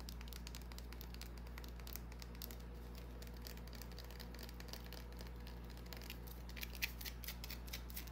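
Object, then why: Small solid bar of soap. Long nails scratch a small, solid white bar of soap held in the palm, making quiet, dense, rapid scratchy clicks with a bright, crisp edge over a steady low hum. A few sharper, louder taps stand out toward the end.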